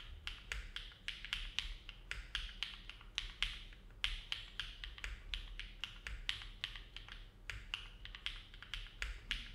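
Fingertips of both hands type steadily on a compact Neo70 mechanical keyboard with an aluminum plate, foam dampening and dark GMK plastic keycaps, resting on a desk mat. Dozens of short, crisp clacks follow one another at a relaxed pace, each bright and centered near 3 kHz and dying away almost at once over a faint low hum.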